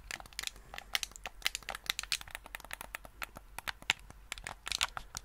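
A black, hollow, hand-sized hard-plastic gamepad is held close to the microphone while fingertips press its buttons and tap its shell. The result is a quick, irregular run of sharp, bright clicks and taps, each dying away almost instantly, with little low end beneath them.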